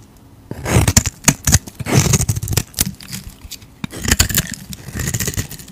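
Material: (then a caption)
Soap. A utility knife blade scrapes and carves white flakes off a solid, rectangular, white stamped Hacisakir bar soap held in the hand. After a quiet half second, bursts of dry, crackly scraping follow one another, with bright flaking texture over low, dull thuds from the bar.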